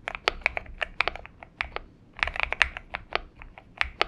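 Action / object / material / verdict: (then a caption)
tap / aluminum mechanical keyboard with PBT keycaps / aluminum, PBT plastic / none. Fingertips of both hands type continuously on a purple-backlit Xinmeng M71 70% mechanical keyboard with an aluminum case and PBT keycaps, resting on a desk mat. About nineteen short, bright, dry key clacks centered around 2 kHz come in an uneven rhythm, each dying away almost instantly with very little low end.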